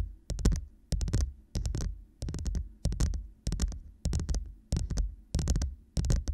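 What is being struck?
Hollow plastic cup.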